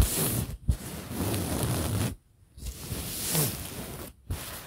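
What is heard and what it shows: Fingertips and nails of one hand scratch and rub a printed fabric pillow, making a steady, soft scratchy rustle weighted toward low frequencies. The rubbing stops briefly three times, with the longest gap near the middle, then resumes each time.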